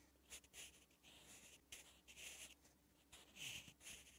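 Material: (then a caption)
Paper. A sharpened wooden graphite pencil is drawn across a thin, lined, flat page of a spiral notebook while writing Korean letters. It makes a series of short, bright, scratchy strokes with brief pauses between them. A faint steady low hum sits underneath.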